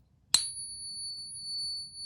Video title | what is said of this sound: Gold Plated Tungsten Maple and the No-ping Gold Maples - coin ping test | that has that nice, long, resonant ping. Really, really distinct.